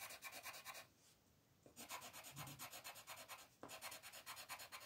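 A light green colored pencil rubs back and forth across a flat white paper sheet printed with a mandala, filling in the petals. Quick, bright, scratchy strokes repeat at a steady pace, with a short quiet pause about a second in before the rubbing resumes.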